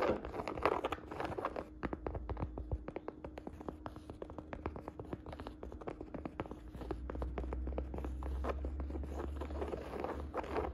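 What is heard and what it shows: Fingertips and nails tap and scratch the curved fabric side of a hollow navy-and-beige woven jacquard canvas saddle bag. Quick, soft, dry taps come at an uneven pace, mixed with scratchy rustling over a steady low hum.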